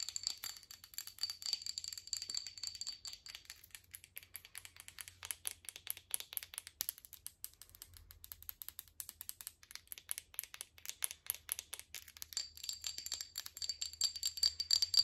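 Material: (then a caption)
Glass. Long acrylic nails tap and scratch a small, dark amber glass essential oil bottle with a black plastic cap and paper label that seems partly full. Dozens of quick, irregular, bright clicks and scrapes are heard, with a faint high glassy ring at the start and end.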